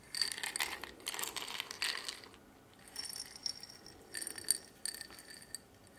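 A medium-sized clear glass jar with a silver metal lid and a label, partly filled with small metal pins, is held in both hands and shaken and turned. The pins produce bright, high-pitched metallic rattling and clinking in several short bursts, separated by brief quiet pauses.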